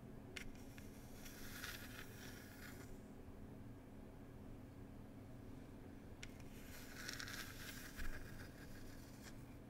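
A small hollow wooden tea box is tapped and scratched with long nails in two bursts of crisp, scratchy clicking separated by a quiet pause. A low steady hum runs underneath throughout.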